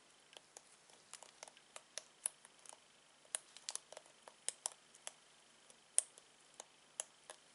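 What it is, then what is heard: Plastic bristle hairbrush. Latex-gloved fingertips strum and scratch the bristle tips of a black plastic hairbrush with multicolored plastic bristles, over and over. About two dozen quiet, bright, crisp flicking snaps come at an irregular pace, each dying out almost instantly, over a faint steady hiss.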